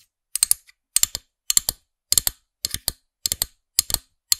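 Long nails tap the small hard plastic character head of a figurine-topped pen toy on a black plastic stem, held in front of the microphone. The result is quick, bright, clicky taps in short clusters of two to four, repeating in eight bursts with almost no ring or low end.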